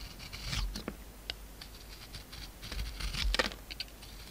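A utility knife shaves a hand-sized, solid oval bar of soap with a gold coating over a pink core, held in the palm. Soft, dry scraping and crisp, bright scratching strokes come in quick bursts over a low, steady rumble, with a few sharper peaks near the end.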